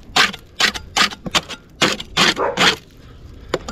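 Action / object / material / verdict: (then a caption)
scrape / painted cement render on a masonry parapet wall / cement render / none. A wooden-handled metal paint scraper is pushed along the top of a solid rendered masonry parapet wall beside clay roof tiles, lifting loose, flaking white paint off the painted cement render while the other hand steadies against the wall. The clip is a quick, uneven run of short, bright, raspy scrapes with little low end, separated by brief quiet gaps.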